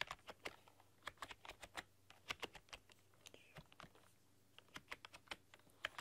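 Long dark-polished nails and fingertips type on a full-size plastic RGB backlit computer keyboard with black keycaps and a rainbow backlight, pressing and clicking the keys. The result is a quiet, uneven run of sharp, bright, dry key clicks that stop dead. There is a brief lull in the middle, and a faint low hum sits underneath.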